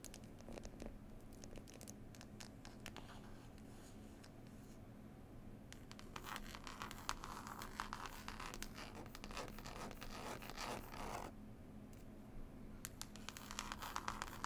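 Long nails scratch and tap the label on a closed, solid hardback book with a cloth cover. Quiet, soft tapping gives way to denser bursts of dry, bright scratching in the middle and again near the end, over a steady low hum.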